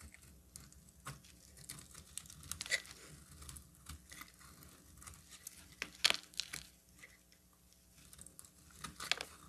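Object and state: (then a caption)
Bar soap being carved. A metal utility knife blade carves a solid pink bar of soap into flakes. The result is a series of quiet, crisp scraping and crunching sounds, bright and dry with no ringing. A few sharper, louder cuts stand out against a soft, steady background.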